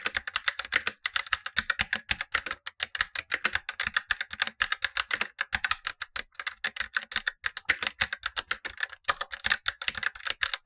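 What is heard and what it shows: Blue-gloved fingertips type steadily on a Razer BlackWidow Lite, a tenkeyless plastic mechanical keyboard with tactile switches and black plastic keycaps on a light frame, set above a second, untouched keyboard. Quick, dry plastic clacks follow one another in a dense, uneven rhythm with brief pauses. Each keystroke is bright and snappy, centered around 2 kHz with a high edge, and has almost no low end or ring.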